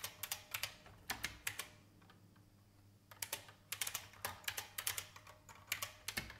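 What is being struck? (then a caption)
Plastic mechanical keyboard keys. Fingertips of both hands type on a vintage beige IBM mechanical keyboard with plastic keys, producing bright, sharp clacks that die away quickly. Bursts of keystrokes come in uneven rhythms, with a brief lull near the middle before the typing picks up again.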